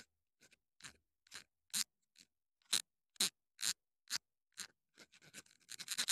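Long dark nails scratch and tap a small black plastic clip-on wireless mini microphone with a green LED and hollow housing, held in the hand. Short, bright, scratchy bursts come at an uneven pace and speed up into a rapid, dense flurry at the end.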